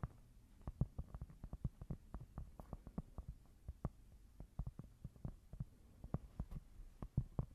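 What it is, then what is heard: Cork board. A small, thin, solid square cork board is held close to the mic and tapped and scratched with long nails. Rapid, irregular, dull taps with almost no ring sit mostly in the low range, over a faint, soft scratching texture.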